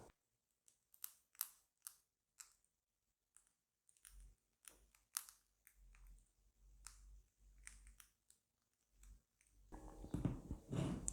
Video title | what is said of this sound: Pain au levain : recette, préparation, façonnage et cuisson! | Alors pour savoir si le pain est cuit, il suffit de tapoter en dessous. Si ça sonne creux, c'est qu'il est cuit.